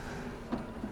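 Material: Nothing is struck.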